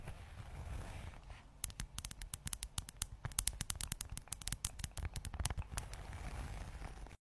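A closed red textured leather zip wallet, held close to the microphone, is scratched and tapped with long acrylic nails along its face and zipper edge. A soft, low, rustling scratch opens the clip, then about thirty sharp, bright, dry taps follow in quick, irregular succession over the rest of the clip, each dying away almost instantly.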